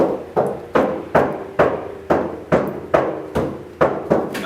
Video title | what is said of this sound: 2004 BMW X3 E83 Door Sound Dampening | is really really tinny and really sounds like a giant little trash can